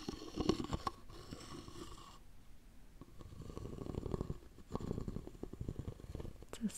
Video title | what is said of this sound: Sleepy Russian Souvenirs 🎁 ASMR • Soft Spoken • Wood • Lid • Tapping Sounds | it's a slightly more hollow sound when the top is off